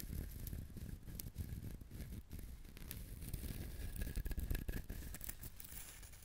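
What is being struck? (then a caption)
Whole coconut with fibrous husk. Fingernails scratch the fibrous shell surface of a whole brown husked coconut, making a continuous dry, scratchy rustle. Bright clicks and a low rumble run steadily through the clip without clear breaks.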